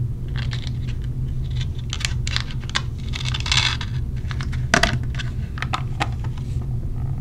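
A small clear plastic case holding orange silicone earplugs is knocked with a knuckle and then tapped with long nails. The result is a rapid, irregular run of short, bright plastic clicks and taps that die away almost instantly, over a steady low hum.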